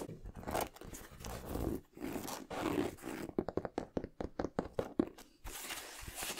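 Fingertips and nails tap and scratch the smooth leather upper and rubber midsole of a hollow, empty white, blue and yellow high-top leather basketball sneaker held in the hands. Soft, breathy scratching and rubbing strokes give way in the middle to a quick run of short, dull, hollow taps with a low-mid body. A bright scratching swish returns at the end.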